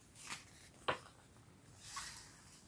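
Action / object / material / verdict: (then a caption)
scrape / thick paper pages of a hardcover book / paper / none. Fingertips with dark-painted nails rub and smooth across the right-hand page of a large hardcover storybook with thick paper pages, lying open flat on a striped cloth. Quiet, airy paper swishes are broken by one short, crisp tick near the middle, followed by a broader, brighter brushing sweep that fades out.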